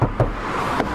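Two hollow, low-pitched knocks on another car's thin body panel, with a faint tap near the end, show how flimsy it is. The panel sounds tinny, like a tin can or plastic, compared with the Smart car's steel frame.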